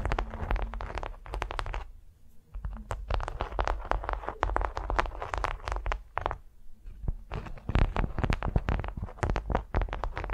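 Long nails on both hands scratch and tap a large, flat, patterned beeswax-coated cotton wrap lying on a furry mat. The result is a dense run of crinkly, crackling scratches with a low, muffled body, broken by brief quieter pauses near 2 and 6.5 seconds.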